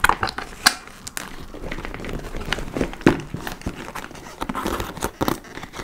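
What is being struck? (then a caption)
Leather tote bag. Long nails tap and scratch the top panel and laced front of a large, hollow, dark-brown leather (likely faux) tote bag. The result is a steady crinkly scratching with soft crackle, broken by sharp, bright taps that die away quickly.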